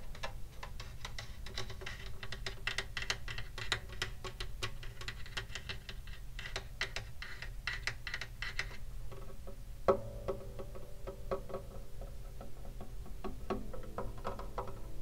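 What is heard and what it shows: Fingertips tap rapidly on the top and upper body edge of a hollow wooden acoustic guitar held in the lap. The result is a steady stream of light, dry clicks over a low, boomy body resonance. A louder knock near the ten-second mark leaves a brief tonal ring around 390 Hz.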